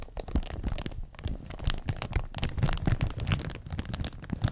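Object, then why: Thin plastic protective film on a hard surface. Gloved fingertips press and rub clear, thin plastic protective film on the black surface of an audio mixer, crinkling it. The result is a steady run of dry, close crackles and crinkles, with soft low thumps from the pressing and brief bright flecks as the film shifts.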